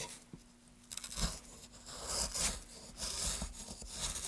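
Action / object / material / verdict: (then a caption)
scrape / wooden plank / wood / none. A solid light wood plank is carved with a wooden-handled gouge in repeated cutting and scraping strokes. Each stroke gives a dry, bright, scratchy rasp with brief crunchy bits, separated by quieter pauses.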